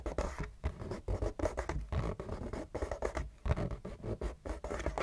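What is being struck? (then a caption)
Cardboard tissue box. Fingernails and fingertips scratch fast and hard across a hollow, printed cardboard Kleenex tissue box. The result is a rapid run of rough, rasping bursts with short pauses between them, carrying a dull, boxy low body under the scratchy texture.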